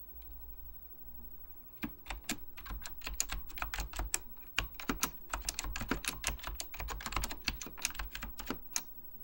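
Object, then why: Plastic mechanical keyboard. Fingertips with painted nails type on a beige plastic Apple Extended Keyboard II, a full-size keyboard with hollow plastic keycaps over mechanical switches. After a quiet start, a rapid run of short, sharp, bright clacks begins near the two-second mark and continues to the end, each keystroke dying away almost at once over a steady low hum.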